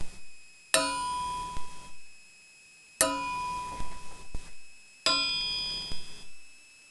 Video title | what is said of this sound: HOW TO ID A STEEL CRANKSHAFT | it's like a high ring. It almost sounds like, you know, a silver coin. It has that distinct, clear ring.